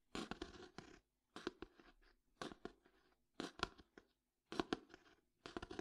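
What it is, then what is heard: Old hardcover book. Fingertips tap and scratch the cover and spine of a closed old hardcover book. Six short bursts of quick, dry taps with papery scratching are separated by brief silences, each tap a soft mid-range knock with bright scraping texture and almost no ring.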